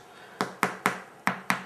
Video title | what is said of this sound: Irish Brown Soda Bread | the crust on this is quite hard